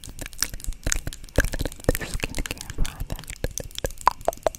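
Long acrylic nails tap and scratch the lid of a small, hollow white plastic cosmetic jar close to the mic. The result is a rapid, irregular run of crisp, dry clicks and taps mixed with crackly scraping, each hit dying away almost instantly.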